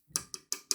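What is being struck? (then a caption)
Metal joint of a microphone boom arm. The metal junction of a microphone boom arm is tapped four times, giving short, bright, high-pitched clicks that stop almost at once. Each tap has a sharp metallic tick with almost no low end, and the joint sounds like metal.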